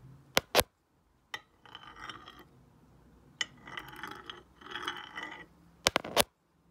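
A black stone face roller is rolled by hand across the glazed surface of a solid, square glossy ceramic tile painted as a night sky. Sharp, bright clicks of stone on glaze frame three passes of a rattling, gritty rolling sound that sits in the mid and high range, with quiet pauses between them.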